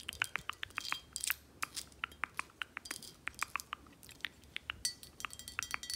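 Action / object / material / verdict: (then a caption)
tap / glass bottle / glass / none. Long acrylic nails tap and scratch the body and round cap of a tall, full, dark glass Don Julio 1942 tequila bottle held in hand. The result is a quick, irregular run of sharp, bright clicks with almost no ring, over faint high scratching and little low end.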